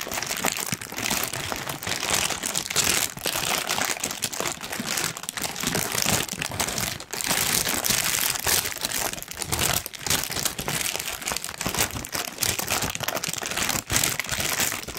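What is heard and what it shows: A large, thin pink tissue paper sheet is scrunched and crinkled by hand. It makes a steady, dense crinkling and crackling that is mostly bright and high, with very little low end. The sound runs almost nonstop for the whole clip, with only brief dips in loudness.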